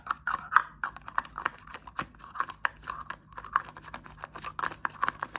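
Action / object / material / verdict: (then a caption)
tap / small plastic deodorant stick with plastic cap / plastic / none. A small plastic deodorant stick with a clear plastic cap is held in the hand and tapped and scratched with fingertips and short nails, mostly on the cap. A quick, irregular stream of dry, clicky taps and brief scratches sounds bright and midrange, with almost no low end. Each tap stops instantly with no ring.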